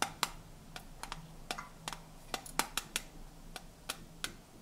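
Fingernails tap the open rim and sides of hollow, cylindrical tinplate tea canisters stacked in blue, gold and magenta sections. The result is a quick, irregular series of sharp, bright, dry clicks centered near 1.2 kHz, each dying away almost instantly, over a faint low steady hum.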